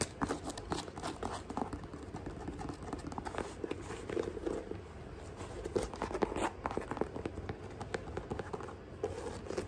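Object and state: Mesh sneaker scratched and tapped.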